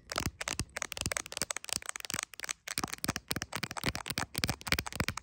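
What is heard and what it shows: Long acrylic nails tap and lightly scratch on the camera area and clear plastic case of a handheld iPhone. Many rapid, sharp, bright clicking taps come in quick uneven bursts, with faint scraping between them and brief pauses.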